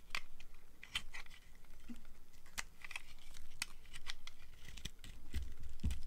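A box cutter blade scrapes and shaves the surface of a solid bar of dry purple and white striped soap held in one hand, carving it. Quick, crisp scraping strokes come in a steady run with sharp, bright edges over a low rumble.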